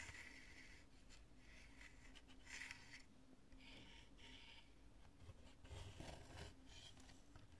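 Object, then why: Chunk of cured polyurethane spray foam. Long nails scratch and tap across the smooth lobes of a chunk of cured polyurethane spray foam. Soft, dry scraping comes in bright, hissy bursts over a steady low rumble, with a few slightly louder taps near the end. The clip stays quiet and close throughout.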